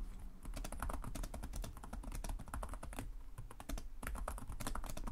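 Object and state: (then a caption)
Laptop keyboard typing. Fingertips of both hands tap rapidly on the low-profile plastic chiclet keys of a black laptop with a hollow body, producing continuous typing. The keys give dense, short, crisp clicks with bright ticks and a dull low thud beneath, with barely a pause between strokes.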